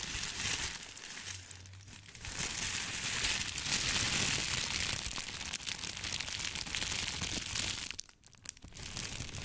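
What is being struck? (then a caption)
Thin tissue paper sheet. A thin white sheet of crinkly tissue paper is twisted, bunched and crumpled in both hands close to the mic. A dense, bright crackling fills the clip, growing louder after the first couple of seconds. It dips briefly near the end, then resumes.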